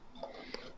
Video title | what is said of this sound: SqE - Home Improvement - Episode 11 - Twice the wall to spackle, twice the fun? | I was hearing this sound when I was tapping it, meaning hollow.